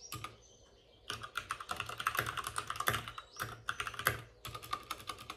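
Both hands with short-nailed fingertips type on a white full-size plastic mechanical keyboard with plastic keycaps and RGB backlighting, set on a desk with a padded wrist rest. Quick, bright clicky taps come in bursts: a short flurry at the start, a pause, then steady rapid typing with brief gaps before a final run.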